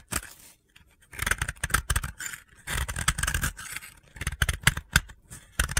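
A utility blade scrapes and shaves gritty powder off a hand-held, solid, pale blue dry soap block. The result is a series of dry, crunchy scraping strokes in irregular bursts with short pauses between them, mixing a low rumble with bright, gritty texture.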